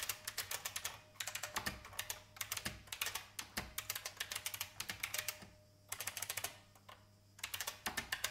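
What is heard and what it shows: Fast typing with the fingertips of both hands, nails painted red, on a vintage beige plastic IBM mechanical keyboard with hollow plastic keycaps. It makes rapid bursts of sharp, bright clacks that die away almost instantly, with short pauses between bursts.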